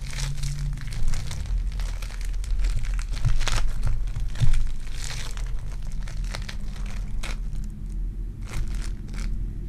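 A solid lump of lavender sticky foam clay (polystyrene bead clay) is squeezed and crushed in the palms and fingertips by a hand with long dark nails. It makes a dense, continuous crinkling and crushing sound over a deep low rumble. Bright crackling bursts flare up throughout, with a louder squeeze near the middle.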